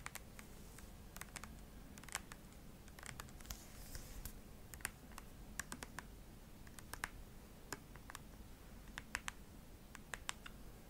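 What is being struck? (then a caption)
Plastic cream tube. A hand-sized, hollow white plastic cream tube, likely filled, is held in the hand and tapped and scratched with long acrylic nails. Many quiet, sharp, dry clicks sound in an irregular run over a faint low rumble, each dying away almost instantly, with a brief bright scratchy rasp near the middle.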